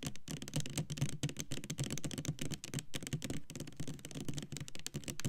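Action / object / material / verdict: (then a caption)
tap / plastic foaming hand soap bottle / plastic / none. Long nails tap rapidly on the front label of a Black Cherry Merlot clear plastic foaming hand soap bottle, full of pink liquid and standing upright. The quick, loosely steady taps give short, dull plastic knocks with a low hollow body and faint clicky edges, each fading almost at once.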